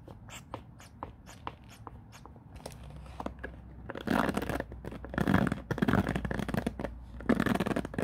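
Fingers rake and scratch across the white-tipped bristles of a black plastic paddle hairbrush head resting on a wooden floor. Light, separate bristle ticks and plucks come first, then build into denser, louder bursts of dry, crackly scratching in the second half.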